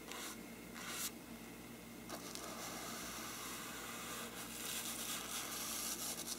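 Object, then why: Faux-parchment paper lampshade. A small brush is rubbed across a hollow faux-parchment paper lampshade, then fingertips touch its surface. The sound is a quiet, dry, bright hiss of scratchy brushing and soft papery rustling, with a few brief louder swishes.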